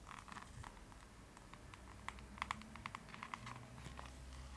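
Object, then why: Hardcover book with laminated cardboard cover. Long pointed nails tap rapidly on the glossy laminated cardboard cover of a closed hardcover book held up in one hand, with rings on the fingers. The result is a quiet run of short, bright clicking taps with a hollow ring near 1 kHz, a few sharper than the rest, over a low background rumble.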